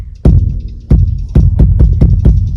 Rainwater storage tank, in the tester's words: you can tell right away by the sound that hollow sound tells you the tank is empty